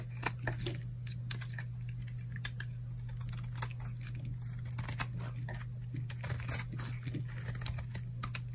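A solid, old, dry pink oval bar of soap held in the palm is shaved with a utility knife blade, curling off flakes. Quick, dry, crisp scraping and crunching strokes come in an uneven run over a steady low hum.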